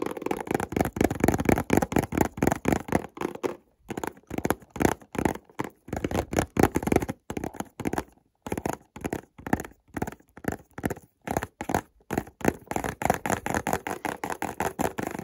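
Fingernails scratch and tap along the edges and seams of a white cardboard perfume box wrapped in shiny plastic film, held in the hand. Rapid, dry bursts of scratching and crisp taps repeat in an uneven rhythm, broken by brief silences. Each sound stops almost instantly, with a soft papery body and a faint crinkle from the film.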